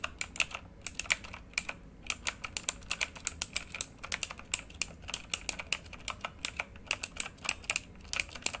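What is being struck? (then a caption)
Plastic mechanical keyboard. Fingertips of both hands type quickly on a full-size plastic mechanical keyboard with RGB-lit keycaps, producing a steady stream of sharp, bright clicks and clacks. Each keystroke is short and dry, with almost no low end and brief pauses between bursts.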